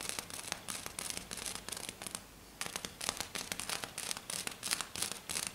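Fingernails scratch and tap rapidly on a flat silver glitter sheet lying on a table. The sound is a dense run of bright, crisp, crackly scrapes and quick ticks with almost no low end. It pauses briefly just past the two-second mark, then resumes in sharp bursts.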